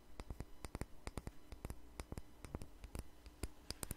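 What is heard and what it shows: A small jar with a red label and lid is held in a hand and tapped and scratched with fingernails. About two dozen short, sharp, bright clicks land in an irregular rhythm and die away almost instantly. A steady low hum sits underneath.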